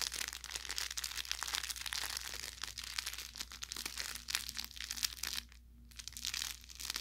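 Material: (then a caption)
Fabric, plastic film. An orange velour plush carrot cat toy with crinkle filling is squeezed with the thumb and fingers, making dense, bright crinkling and crackling with small pops. The crackle runs almost without a break, dips into a brief quiet near the end, then picks up again over a faint steady low hum.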